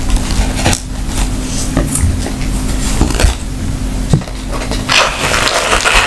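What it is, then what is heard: Rattan wicker bag tapped and scratched. Long manicured nails tap and scratch the woven weave of a round, hollow rattan wicker handbag with leather straps and a snap tab, held in the hands, giving dry, short clicks and scratchy rustles over a steady low hum. Near the end the bag is opened, bringing a brighter, fuller rustle.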